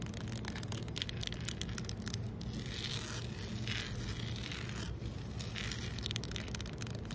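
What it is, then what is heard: Solid concrete pavement. Fingertips and nails scratch and tap across flat, solid, rough outdoor concrete pavement. The result is a steady, close gritty scraping with many quick taps over a low rumbling base, with bright, brushy flickers of grit running through the high end.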